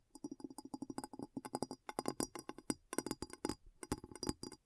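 A glass bowl is tapped in quick, uneven bursts, giving short clinking hits centred around a low-mid pitch with bright high overtones above. Each tap dies away almost instantly, leaving a dry, rapid run of distinct clicks and chinks.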